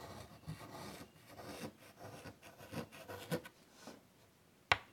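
White chalk held in the fingertips draws detail lines across a large wood-framed chalkboard, making a series of soft, dry scratching and rubbing strokes. Near the end, a sharp, bright tap rises above the quiet scratching and stops almost at once.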